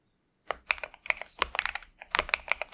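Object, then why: Mechanical keyboard with plastic keycaps. A pink and purple 65% Xinmeng M71 mechanical keyboard with TTC Superman switches and plastic keycaps, resting on a desk mat, is typed on continuously with the fingertips of both hands. A quick run of sharp, bright clacks comes in uneven bursts, each keystroke dying away almost instantly with very little low end.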